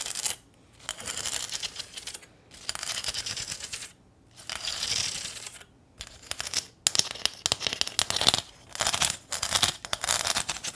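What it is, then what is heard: Corrugated metal sign. Long nails scratch along the ridges of a small, flat corrugated metal welcome sign with a ribbon bow and tap its surface. Bright, raspy scraping comes in bursts separated by short pauses. Quick, crisp ticks follow near the end.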